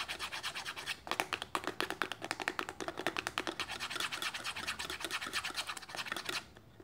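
Long fingernails rub and scratch the thin end flap of an opened printed paperboard box held on its side. A quick run of dry, crisp scratching strokes, bright and papery with little low end, goes on steadily for about six seconds, then stops, leaving faint quiet.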